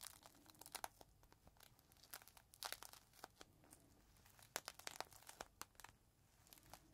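Fingertips pinch and crinkle a small clear plastic bag holding a folded green microfiber cloth, and the bag is tilted in the hands near the end. The result is quiet, dense, bright crinkling and crackling, with short sharp snaps that die away almost instantly over a soft hiss.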